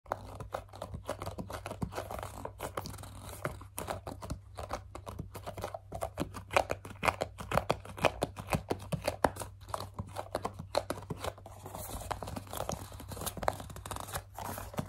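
Long, dark, glossy nails grip, squeeze and scratch the sides of a hollow, medium-size white plastic CeraVe foaming facial cleanser pump bottle. The result is a dense, irregular stream of quick crinkling scratches and sharp clicks, centered in the mids, over a steady low hum.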